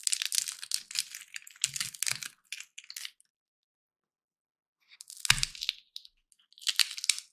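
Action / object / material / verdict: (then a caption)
strike / peanut in shell / peanut shell / none. Dry, hollow peanut shells are crushed and split between the fingertips over a heap of shells, giving bright, crackling crunches in quick bursts. After a short silent pause, a sharper snap with a brief low thud cracks a shell open, followed by more crinkly crunching.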